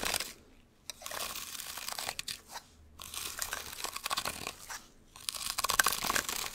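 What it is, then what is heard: Sisal rope scratching post being clawed. Fursuit gloves with long hard claws scratch and claw down a small cylindrical scratching post wrapped in sisal rope, held upright beside the microphone. Dense, bright, crunchy rasping comes in several long bursts separated by brief near-silent pauses, with little low-end weight.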